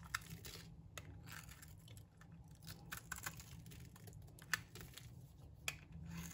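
A metal blade scrapes crumbly shavings off a solid, dry, rectangular brown laundry soap bar. Soft, dry scratching and crumbling runs throughout, broken by a few sharp, bright clicks. A steady low rumble sits underneath.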